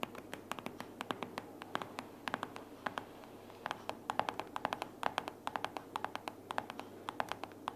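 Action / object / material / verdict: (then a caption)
tap / paperboard sticky-note organizer with paper pads / paperboard / none. Long purple fingernails rapidly tap and scratch a closed pink paperboard sticky notes organizer lying flat, solid with paper pads inside. The result is a quick run of short, dry, crisp clicks with no ring, centered around 820 Hz, over a soft scratchy hiss.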